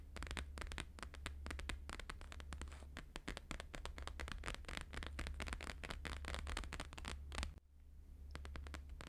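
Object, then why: Plastic-laminated paper sheet. Fingertips and nails of both hands tap fast on a thin, flexible, flat square sheet of plastic-laminated holographic paper lying on a fur rug. The result is a dense run of sharp, dry, crackly clicks over a steady low hum. The tapping breaks off briefly near the end, then picks up again more sparsely.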